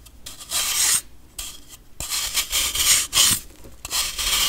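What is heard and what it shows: A metal knife shaves and scrapes the surface of a solid, compressed baking soda block held by fingertips. About seven irregular strokes produce bright, dry, gritty rasping hiss with almost no low end, separated by brief quiet gaps.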